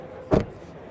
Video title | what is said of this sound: China has already beaten GM and Ford | The doors sound good. Yeah, that sounds solid, nice.